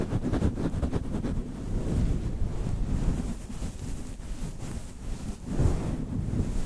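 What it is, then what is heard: Synthetic fur microphone windscreen. Fingertips of both hands rub, scratch and squeeze a grey-white faux-fur windscreen covering a microphone head. The result is a continuous, muffled, rumbling rustle, mostly low in pitch, like wind buffeting, with soft swells of scratchy texture.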